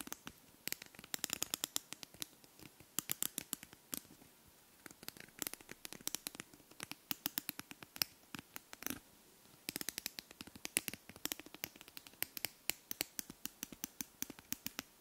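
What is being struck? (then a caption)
Wooden comb teeth scratched with fingernails. Long fingernails scratch along the teeth of a small, light beige wooden comb held close to the microphone. The result is a steady run of quick, dry, bright clicks and ticks in uneven bursts and sweeps, with almost no low end and no ring between strokes.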